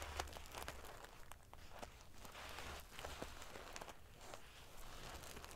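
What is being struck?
Sequin-covered pillow with metal paillettes.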